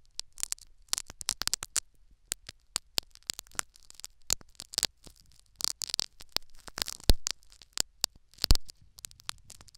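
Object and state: Foam sponge in a silicone ear microphone.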